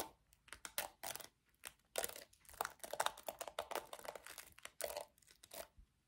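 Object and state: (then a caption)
Plastic hairbrush. Long nails tap the hollow back of a small pink plastic paddle hairbrush and scratch across its black bristles. The result is a quiet run of quick, dry, bright clicks and crinkly scratching bursts with almost no low end and no ring after each touch.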